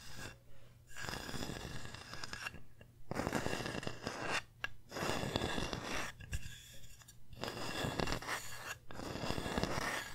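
Long nails scratch and tap across the engraved letters of a flat, solid wooden pumpkin sign carved with the word "thankful." Dense bursts of dry, rasping scratches and quick taps come in stretches separated by brief pauses, with a steady low hum underneath.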